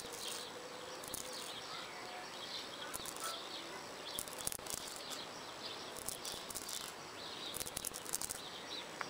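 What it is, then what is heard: Brick wall scratched with fingernails. Fingertips with long purple nails scratch over the rough surface of a solid red brick wall with mortar lines, outdoors. Quiet, bright, dry scraping and scratching with short sharp ticks, over a faint steady background hum.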